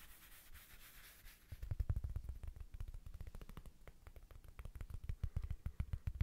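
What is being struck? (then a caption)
Small woven fabric rug coaster. Fingertips and nails rub and scratch the face of a small, thin, solid square woven rug-style coaster with a red patterned fabric face, held in the hands. A soft, airy rubbing hiss gives way after about a second and a half to quick, irregular scratching strokes. The strokes are dull and low-heavy, each with a crisp texture that dies away instantly.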